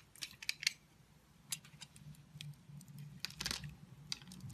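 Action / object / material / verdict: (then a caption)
scrape / bar of soap scraped with a blade / soap / none. A solid oval multicolored bar of soap held in the palm has its surface scored in a grid, and cubes are scraped off with a snap-off utility knife blade. Quiet, bright, crisp clicks and scratchy scrapes come in scattered bursts over a faint low hum, each dying away instantly.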